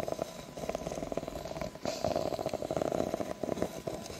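Long nails scratch slowly along the ridges of an empty, ribbed, clear plastic cup, making a dense run of quick ticking clicks over a dry rasp. A steady midrange tone near 650 Hz hums through the scratching, and the strokes swell and fade without stopping.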